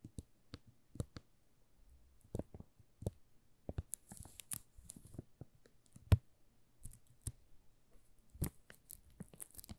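Fingertips scratch and tap the thin plastic film wrapped around a solid pink "Rose" soap bar held in the hands. The result is a quiet run of short, sharp crinkles and crackles with soft low taps, separated by brief pauses, and occasional bright rustling bursts.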